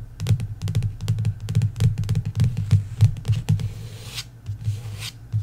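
Long nails tap quickly on the glossy card cover of a paperback novel lying flat, producing a rapid, uneven run of short, dull taps with little ring. The tapping then gives way to a couple of bright, hissy scratches across the cover before a final tap.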